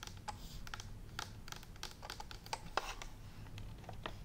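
Long nails and fingertips tap quickly and irregularly on a green and white plastic steam iron with a hollow plastic body and a clear water tank. The taps are short, dry, bright clicks that stop at once, over a steady low hum. One louder tap stands out near the end.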